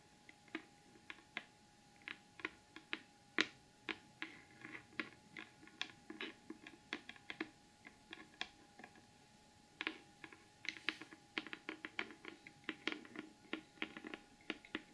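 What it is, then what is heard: Glitter cardboard gift box. Long acrylic nails tap rapidly on the lid of a large, flat, closed cardboard gift box covered in gold glitter paper, rigid and hollow underneath. Dozens of quick, bright, dry clicks come in uneven bursts over a quiet background, each dying away almost instantly with a faint hollow body.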